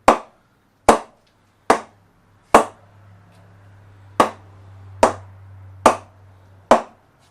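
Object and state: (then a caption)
Willow cricket bat with carbon-fibre handle. A ball is tapped eight times on the face of a 2007-08 Gray-Nicolls Fusion 1000 willow cricket bat with a banned carbon-fibre handle. Each tap is a sharp, short knock that dies away quickly, spaced under a second apart, with a faint low hum underneath. The bat gives a distinctive sound not heard in about ten years.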